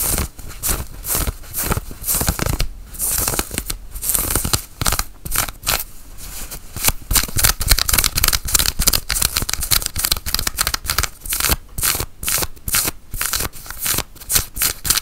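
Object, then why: Cotton flannel shirt sleeve. Long fingernails scratch along the sleeve of a worn, dark grey cotton flannel shirt held forward. Rapid, repeated dry rasping strokes sound bright and scratchy over a low rumble, with short pauses between bursts.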